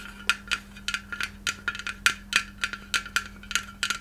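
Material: Glass.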